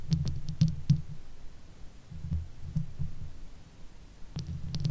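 Long nails of both hands scratch and tap the sides of the hollow metal mesh head of a Blue Yeti microphone. The result is a quiet stream of low, muffled rumbling and thumping, with irregular soft taps that each add a brief, bright click.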